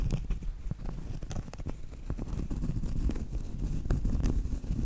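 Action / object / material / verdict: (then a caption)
tap / round cork trivet / cork / none. Long light-blue acrylic nails tap and scratch the front face of a large, thin, flat, solid round cork trivet. The result is a steady run of soft, dull, low-pitched taps mixed with muffled scratching rustles, each tap dying away almost at once.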